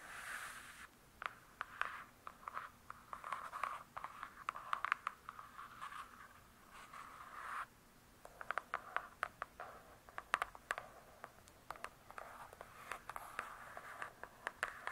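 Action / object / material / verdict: scrape / hardcover book with glossy paper-covered cardboard cover / cardboard / none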